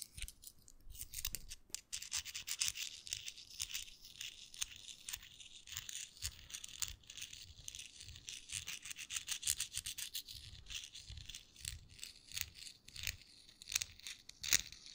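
A small folded US dollar bill of thin paper is rubbed and crinkled between fingertips in front of the microphone. It makes a quiet, steady run of bright, crackly rustles and rapid crinkles, with almost no low end and occasional louder snaps.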